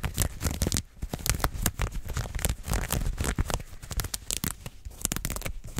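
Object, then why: Stretchy synthetic fabric garment. Long nails scratch fast and hard across soft mauve-pink stretch fabric, like leggings, pulled taut close to the mic. The result is a dense run of quick, dry rasping and tearing-like strokes with a heavy low rumble underneath and bright, crackly edges on each swipe.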